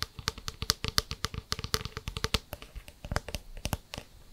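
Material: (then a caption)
Plastic. A clear plastic water bottle with a white plastic cap is held in hand and tilted while fingertips and nails tap and scratch the cap and bottle. The result is a rapid run of about two dozen short, dry, typing-like clicks with bright, crisp tops and very little ring.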